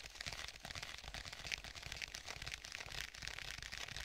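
Fingertips tap the surface of a black stitched faux leather tablet case, held in both hands and stretched slightly. The result is a steady run of quick, dry, bright taps with almost no ring, repeating roughly twice per second over a soft background hiss.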